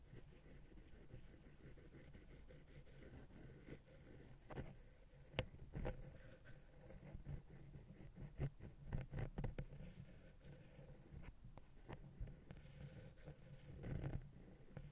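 A wooden ear pick taps and scratches the side of the small, hollow, silver metal XY stereo microphone capsule on a Zoom H6 recorder. The result is a quiet, low, muffled rustle of scratching, broken by short, dry taps that thump close in the low end and die away almost instantly. The sharpest taps come around the middle of the clip and near the end.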